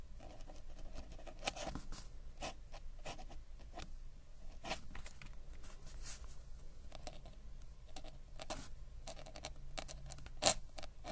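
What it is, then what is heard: Paper sketchbook page scratched by a metal-nib pen. A metal-nib dip ink pen, held in the fingers, scratches across a flat paper sketchbook page while writing. Quiet, dry scratching strokes come in short bursts over a steady low hum, with a sharper, brighter scrape standing out near the end.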